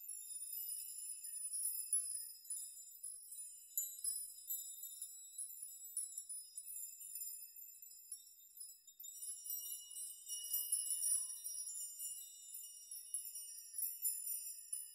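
Fingertips sweep the strands of a chime made of hanging metal nails, setting the nails jingling against each other. The result is a quiet, continuous, bright metallic tinkle that sits entirely in the high range, with short rings that fade quickly, swelling in a few denser bursts along the way.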